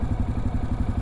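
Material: Nothing is struck.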